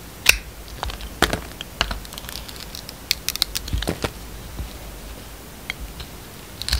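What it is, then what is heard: Bar soap being sliced. A yellow utility knife blade cuts and scrapes thin slices off a solid, hand-sized bar of soap with a black-gold glitter coating and a blue-and-white striped inside, held in the palm, with a second piece on the table. The clip is a quiet, irregular series of crisp, bright clicks and short scraping snaps, each dying away almost instantly.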